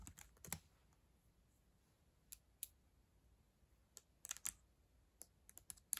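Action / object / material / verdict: tap / plastic laptop keyboard keys tapped with fingernails / plastic / none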